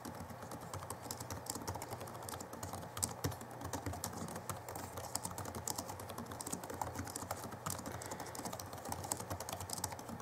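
Both hands type with their fingertips on the backlit chiclet keyboard of a 2011 Alienware M11x R2 laptop, which has plastic keys. Rapid, short, bright plastic key taps run continuously over a steady low background hum.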